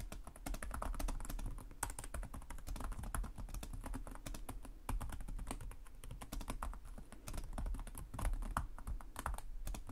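Both hands type rapidly with their short-nailed fingertips on the plastic chiclet keys of a black laptop on a desk. The result is a fast, continuous stream of light clicks and taps over a steady low rumble.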